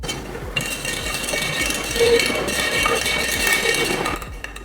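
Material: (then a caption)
Charcoal. Grade A sawdust charcoal briquettes are tapped together, giving a series of clinking, ringing tones around 470 Hz with bright high overtones that sustain for about two seconds. The tone is a bit more subtle and less bright and clear than VIP grade, showing slightly less dense charcoal that is still good quality.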